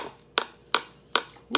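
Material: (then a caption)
Plastic. Four sharp taps on the empty upper part of a plastic ketchup bottle, where no ketchup is inside, each a bright, hollow click that dies away almost at once. The top sounds empty and much louder than the filled bottom of the same bottle.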